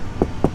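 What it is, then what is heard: Aluminum sheet-metal truck body panel. Two taps on the riveted aluminum sheet-metal body of a 1986 Peterbilt 359, each a short, dull knock with energy mostly in the low mids around 150–500 Hz. The knocks die out within a few hundredths of a second, giving a thin metallic body-panel sound rather than the dead thud of fiberglass.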